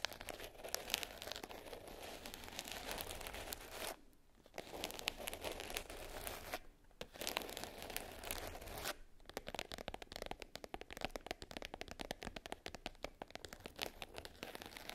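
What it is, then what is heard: Glitter-covered hard case. Long nails scratch and tap the surface of a small black glitter-covered hard case lying closed and flat. Gritty, bright rasping scratches run for about nine seconds, broken by short pauses near four and seven seconds. The rest is a quick run of sharp, dry clicking taps.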